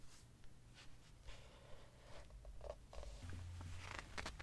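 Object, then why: Hardcover book with glossy paper pages. A hand rubs and turns the glossy paper pages of a large open hardcover book. Soft, quiet rustles and brief papery swishes come and go over a low, steady rumble, with a few brighter crinkles near the end.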